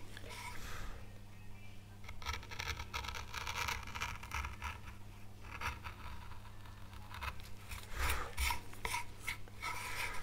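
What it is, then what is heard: Wood carving tool scraping a board. A fine veiner tool rasps and scrapes grooves into an oak leaf carved on a small, solid, light-coloured wood carving board. Bursts of dry, bright scraping come and go over a steady low hum.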